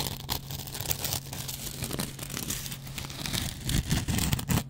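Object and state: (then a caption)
Dry cellulose sponge with scouring pad. A metal double-edge razor blade scratches and scrapes a hand-sized dry kitchen sponge, first across the yellow cellulose foam and then across its green scrub pad layer. Rapid, dense, crackly scratching runs throughout over a steady low hum that fades after about three seconds. Louder, coarser scrapes with more low-end weight come near the end.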